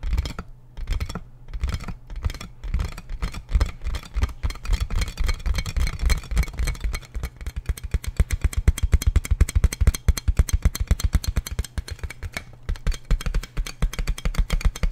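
Fingertips and nails tap and scratch the hollow, air-filled tubes of a large clear plastic inflatable air column packaging bag. The result is a dense run of quick, dull, hollow thumps with a deep low body, mixed with faint scratchy clicks. The tapping is irregular and turns faster and louder through the middle.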